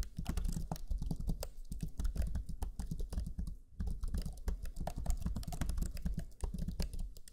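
Fingertips of both hands type rapidly on the black chiclet keyboard of a Lenovo Legion 5 laptop, pressing its low-profile plastic keys. The result is a fast, continuous stream of soft, low, thuddy key taps with short clicky edges, broken by a brief pause just past the midpoint.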